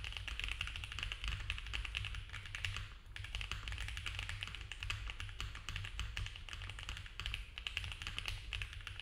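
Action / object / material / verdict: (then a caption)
tap / mechanical keyboard with plastic keycaps / plastic / none. Both hands type fast with their fingertips on a compact, foam-filled mechanical keyboard with cream ABS keycaps, a polycarbonate plate and a dark case. A dense stream of short, bright plastic clacks runs over a steady low hum, with a brief dip in the typing around the three-second mark.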